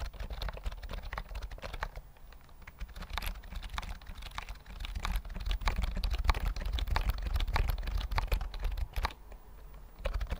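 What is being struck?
Plastic computer keyboard with round keys.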